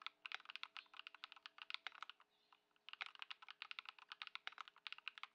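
Fingertips of both hands type continuously on a white Ducky One 2 SF mechanical keyboard with plastic keycaps, modded with Lumia Matcha switches and Poron foam, resting on a dark mat on a wooden desk. A rapid stream of short, bright, clacky keystrokes, centred around 1.5 kHz, pauses briefly near the middle before resuming. A faint steady hum sits underneath.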